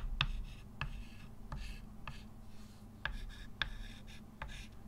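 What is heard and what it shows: A hand writes with a white chalk stick on a flat dark-grey chalkboard with a slate-like surface, set in a solid wooden frame and lying on a table. Sharp chalk taps alternate with soft, bright scratching and rubbing strokes over a steady low hum. The result is a dry, quiet, short-lived scratch with almost no ring.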